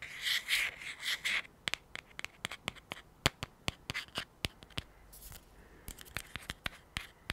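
A small, hollow teal cylindrical anti-fog kit tube, likely cardboard, is held in both hands and scratched and tapped with fingertips and short nails. It opens with bright, rough scratching bursts, followed by a run of many sharp, dry taps with no ring, mixed with a few softer rubbing passes.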